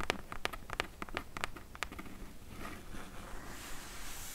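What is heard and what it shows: Long nails tap quickly and irregularly on the side and top edge of a medium, closed, hollow corrugated cardboard shipping box, each tap a short, dry click with a bright edge. After about two seconds the tapping gives way to a softer, continuous scratching that turns into a brighter, hissy scrape as the nails drag across the cardboard.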